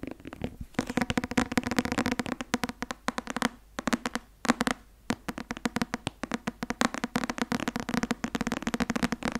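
A thick paperback law textbook with a white and blue card cover and a solid paper block is held in the hands and tapped and scratched on the cover and spine with fingertips and nails. Dense runs of quick, dry clicks and scratchy rustles fill the clip with a low papery thump. There are a few brief pauses near the middle.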